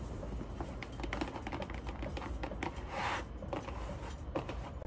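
A closed, medium rectangular printed cardboard product box (Lupantte Soccer Starry Creator), likely holding the product, is tapped and scratched rapidly with long acrylic nails and fingertips on its top and front faces. It gives a quick run of dry, short clicks and taps over a low, muffled body, with a brief brighter scratchy swell near the middle. A faint steady high whine sits underneath throughout.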